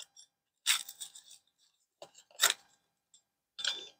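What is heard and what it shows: A pan-browned chicken quesadilla in a flour tortilla is cut in half with a pizza cutter, the blade crunching through the toasted shell. Three main bright, crackly bursts sound, with fainter crisp crackles between them. The crunch shows the quesadilla is crispy.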